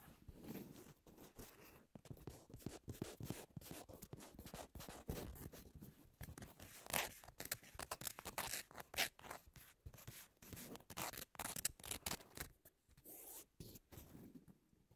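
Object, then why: Foam-core abrasive nail buffer. Long nails scratch along the gritty surface of a thick, solid and spongy pink foam-core abrasive nail buffer lying on a table. Quick, rough scraping strokes come in bursts of bright, papery rasps over a soft low rustle.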